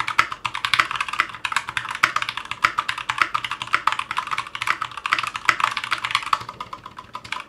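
Continuous typing with the fingertips of both hands on a 60% Clueboard mechanical keyboard with Zealios V2 62g switches, in a metal case with GMK ABS plastic keycaps, resting on a cutting mat. A rapid, uneven stream of sharp, bright plastic clacks is heard, each key strike dying away almost instantly, with a midrange tone and no low thump.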